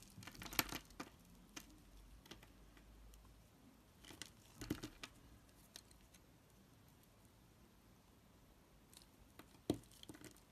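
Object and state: Black soap bar being scraped.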